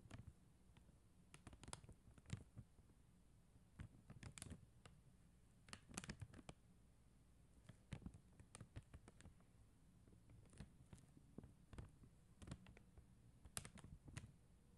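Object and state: Plastic rhinestone sticker sheet.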